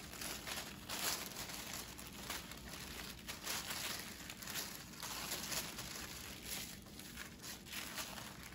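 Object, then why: Thin tissue paper sheet. A large, thin sheet of white tissue paper with small glitter flecks, spread on a wooden table, is lifted and smoothed by fingertips with long dark nails. It gives a steady, bright crinkling and rustling that swells and eases in soft waves throughout.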